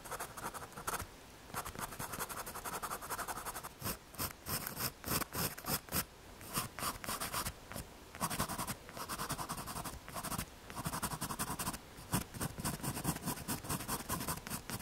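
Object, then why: MDF board. A pencil tip scratches lines and shading onto a small, solid, square brown MDF or hardboard panel about 1 cm thick, held by fingers on a green corrugated sheet. Quick, dry scratching strokes come in steady bursts with brief pauses, giving a gritty rasp with a bright, hissy edge and almost no ring after each stroke.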